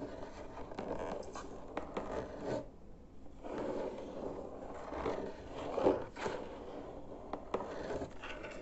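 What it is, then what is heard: Cardboard box. Fingertips tap and scratch the flat surface of a white cardboard box lid with printed text. Soft, dry scraping and scratching comes in uneven bursts, with a few sharper taps and a brief quiet pause near the three-second mark. The sound is mostly midrange with little bright hiss.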